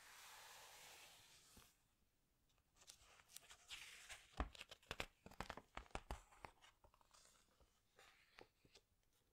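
Fingertips with long nails press, squeeze and rub the glossy paper pages of a large open hardcover book, then turn a page. A soft bright hiss opens the clip, followed by quiet crinkling and a cluster of sharp paper crackles and snaps, louder in the middle, before fading to faint rustling.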